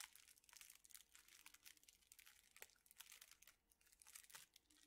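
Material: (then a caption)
Thin plastic. A hand-sized bundle of straws in clear plastic wrappers is squeezed and crinkled with the fingers. The result is quiet, dense, bright crinkling with rapid crackles and almost no low end, each crackle dying away almost instantly.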